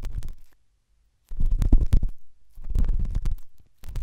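A pen tip rubs and scratches inside the ear canal of the right white silicone dummy ear on a binaural microphone. It makes muffled, deep rumbling scrapes in irregular bursts, with a brief silent pause before the scratching resumes.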